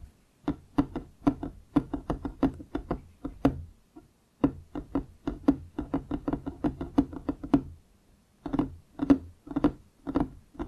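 Wooden objects are tapped and knocked in quick, uneven runs of short, dry hits with a hollow tone around 277 Hz that dies out almost at once. Brief pauses near 4 and 8 seconds split the clip into three bursts.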